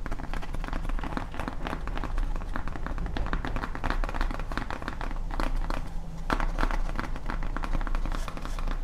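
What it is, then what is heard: Foam prop sign, tapped and scratched. Long nails tap and scratch rapidly along the surface and top edge of a large, flat, solid grey foam Halloween tombstone prop sign. The result is a dense, continuous stream of quick, dull clicks and scrapes with a heavy low-end thump and very little brightness.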